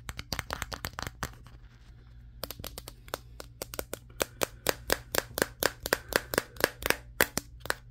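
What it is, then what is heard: Smartphone with a matte glass back. Fingertips of both hands rapidly tap the matte glass back of a Samsung Galaxy S23, the recording phone itself, seen in a mirror. About 35 short, sharp clicking taps land in irregular bursts, pausing for about a second near the start before resuming and growing louder. A faint low hum runs underneath throughout.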